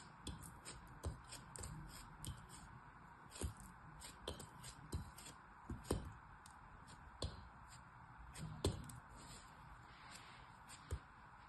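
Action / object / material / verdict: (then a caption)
scrape / kinetic sand block / kinetic sand / none. A small, solid molded lump of orange kinetic sand is held in both hands with blue-painted nails while a small black blade slices and scrapes through it. About sixteen short, soft, crisp cuts and scrapes sound over a steady quiet hiss, with low thuds beneath. The sand crumbles away as it is cut.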